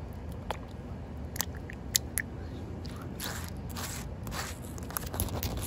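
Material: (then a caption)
Concrete. Fingertips and short nails rub and scratch a solid, wet outdoor concrete pavement with puddles. A few sharp, dry clicks in the first half give way to longer, bright, hissing scrape bursts over a low steady rumble.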